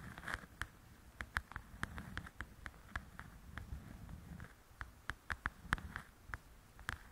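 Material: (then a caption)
Paper. Long painted acrylic nails tap and scratch the glossy cover of a softcover paper coloring book lying flat on a table, its solid stack of pages beneath. An irregular series of sharp, dry clicks with a short bright edge sounds over a soft, low, rustling scratch, quiet overall with the taps dying away almost instantly.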